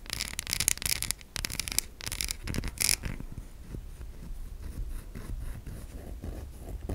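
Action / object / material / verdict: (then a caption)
scrape / bar of soap / soap / none. A solid white soap bar is held in the hand while long nails tap and scratch its embossed surface. Bright, dry scratching bursts fill the first three seconds, then give way to softer, steadier rubbing and light taps with a low rumble underneath.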